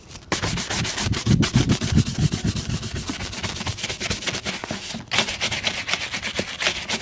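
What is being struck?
Leather boot brushed with a bristle shoe brush.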